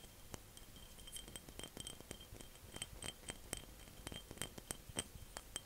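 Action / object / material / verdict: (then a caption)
tap / small glass jar / glass / none. A small glass jar is tapped and clinked in a quick, irregular series of short, bright, high-pitched clicks and chinks. Each hit dies away almost at once over a faint low background hiss.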